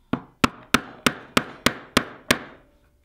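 A steel bench chisel, held in the hand, is pressed down to chop and pare into the end grain of a solid light pine block clamped to a workbench. Eight sharp, bright woody knocks are heard at a roughly steady pace, each followed by a short scraping tail that fades quickly.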